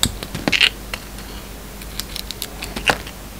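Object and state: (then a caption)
Bar of soap being cut. A yellow utility knife blade carves into a hand-sized solid white soap bar with a black sparkly outer coating, peeling off pieces. Short, crisp, bright scraping and cutting clicks come in scattered bursts over a faint steady low hum, each dying away almost instantly.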